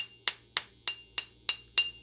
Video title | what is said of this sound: Colorfabb expanding PLA | this sounds like it's more solid